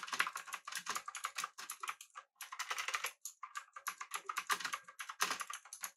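Fingertips of both hands type on a full-size pink typewriter-style mechanical keyboard with an aluminum body and round plastic keycaps. A rapid, steady run of short, bright clacks continues for about six seconds, broken by two brief pauses near the middle. Each keystroke dies away almost at once.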